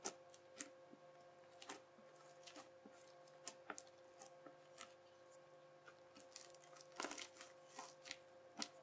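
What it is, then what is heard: Crunchy slime being pressed. A yellow plastic knife is pressed flat and edge-on into flattened teal bubbly crunchy slime, making a series of sharp, bright crackles and crunches. The crisp pops come in quick irregular bursts over a quiet, steady low hum.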